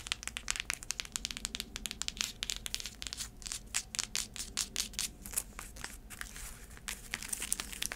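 Long nails tap and scratch the tan cork footbed of a flat sandal with braided black straps, held in the hands. Quick, dry, bright clicks and scrapes come in a dense, uneven run, each dying away almost at once.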